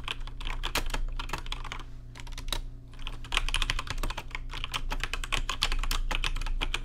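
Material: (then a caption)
Plastic. Fast fingertip typing on a rainbow-lit plastic RGB mechanical keyboard with plastic keycaps produces a dense, irregular stream of sharp, bright clicks that die away almost instantly. The typing eases briefly in the middle before picking back up, over a steady low hum.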